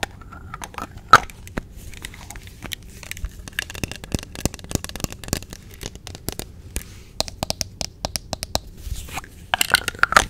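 Long nails tap, scratch and click the yellow plastic cap of a small, hollow, white plastic sunscreen squeeze tube. Rapid, dry clicks and light taps come over a scratchy, crackling scrape, with a few brief squeaky tones near 1.3 kHz. A busier flurry of clicks and scrapes comes at the end, and each sound dies away almost instantly.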